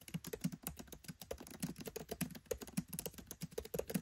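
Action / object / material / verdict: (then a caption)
tap / laptop keyboard with plastic keycaps / plastic / none. Fingertips type rapidly on a MacBook Pro 13 keyboard with black plastic keycaps set in an aluminium body. The quiet, dull, low-pitched key taps come in a quick, uneven stream, each click short and dry with almost no ring.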